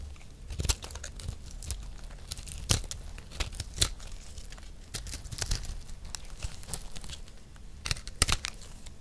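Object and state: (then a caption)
Dry recycled soap disc. A round, solid, palm-sized multicolored disc of dry recycled soap is held in one hand and scraped and shaved with a metal knife blade. Dry, crumbly scraping and crunching sounds come in quick bursts, with sharp, bright transients over a low rumble.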